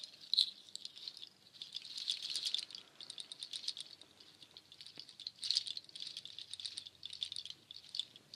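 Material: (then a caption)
Nut shell. A nut shell waterfall shaker, made of strands of dark hollow nut shells on cord held up high, is raked through with long nails so the shells rattle together. The result is a dry, bright clicking rattle with no low end, coming in swelling bursts of dense patter with quieter gaps between them.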